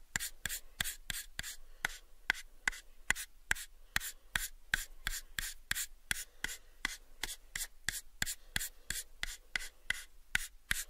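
A pale, unfinished, hollow wooden box is held in both hands while fingertips rub, scratch and tap its faces. About thirty quick, dry taps sound in an even rhythm, each with a bright, crisp click that dies almost at once. Soft scratching fills the gaps between them.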